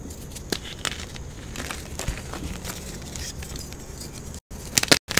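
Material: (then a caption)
Chalk. A palm-sized solid block of blue and white pressed gym chalk (magnesium carbonate) is crushed and squeezed in bare hands with long blue-painted nails over a marble surface, while a second chalk block sits untouched nearby. Steady bright crackling and crumbling runs throughout, broken by sharp crunchy snaps that cluster louder near the end. The block crumbles into powder and chunks.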